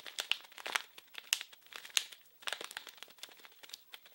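A small blue printed plastic-film wrapped package is crinkled and scratched with fingers. Dense, irregular, bright crinkles and crackles come in uneven bursts, with sharper snaps standing out. The sound is dry, with almost no low end and no ring after each crackle.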